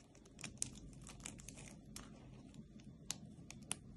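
Long painted nails and fingertips rub and pinch a flat pile of small, dry pink, green and white soap shavings and brittle soap pieces on a dark surface. A steady, dry crinkling crackle is broken by sharp, bright clicks and snaps, with a faint low rumble underneath. The flakes crumble apart.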